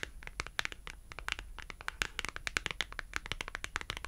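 A thin, solid, colorful printed cardboard shopping tag is held edge-on in one hand and scratched and tapped along its edge with long acrylic nails. It gives a rapid, uneven run of sharp, dry clicks and scratchy ticks with a bright, papery crackle. Each one stops instantly with no ring.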